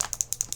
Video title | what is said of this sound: Natural glowy makeup | I do hear something rattling around in there.